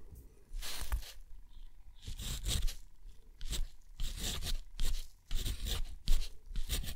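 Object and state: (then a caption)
Textured watercolor paper scratched by a steel nib. A steel dip-pen nib scratches out numbers and an underline on a thick, rough, white textured watercolor paper sheet. Short, irregular bursts of dry, bright scratching come with each stroke, over a low rumble. Quieter pauses fall between the strokes.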